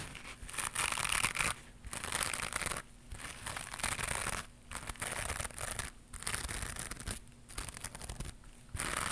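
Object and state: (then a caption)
Knitted mesh scrubber pad. A small white knitted mesh scrubber pad with a loop is held in one hand and scratched with long pink nails. Bursts of bright, crinkly scratching sound come in repeated passes, broken by short quiet gaps.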